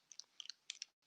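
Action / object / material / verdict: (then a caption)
shake / small plastic paint bottle with an agitator ball / plastic / none. A small 30 ml bottle of acrylic paint is shaken, and the mixing ball inside rattles. It makes a quick series of sharp, bright clicks with almost no low end and no ring. The clicks come in short bursts and stop abruptly, followed by a faint hiss.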